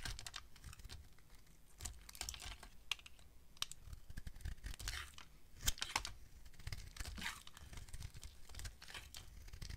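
A solid pink rectangular bar of dry soap, held in the hand, has curls carved off it with a utility knife blade. The result is a quiet run of short, crisp scraping and crackling cuts with bright edges over a low, soft rumble.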